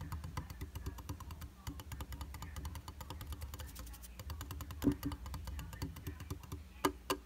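Fingertips and short nails tap rapidly on the flat, solid glass surface of a round glass vanity mirror in a white frame. The result is a steady stream of quick, dry, clicky taps over a low, soft background hum. A few sharper, louder taps stand out near the middle and the end.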